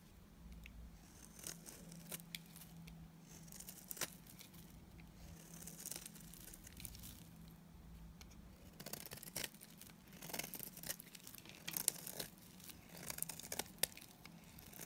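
A utility knife blade scrapes and shaves curls off a solid oval white bar of dry Timotei soap held in the hand. The result is a quiet series of dry, bright, crisp scratching and crackling strokes with sharp, brief clicks, over a faint steady low hum.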